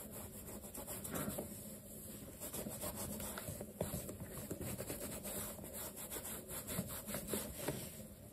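A black leather sneaker, held sideways with a cloth stuffed inside, is rubbed along its side and heel leather by a dark cloth over the fingertips. The sound is a steady, soft, low-mid rubbing with a faint hum near 200 Hz and occasional brief scuffs.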